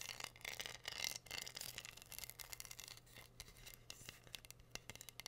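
Long nails tap and scratch the pink rhinestones covering a flat, solid heart-shaped wooden board. The result is a quiet, dense stream of bright, crisp clicks and scratchy rasps, sitting over a faint steady low hum.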